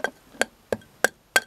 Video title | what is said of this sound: Vidéo colletion Baïonnette partie deux | Regardez l'œil comme il est épais. Donc ça ne résonne pas, ça fait du super boulot quand on tape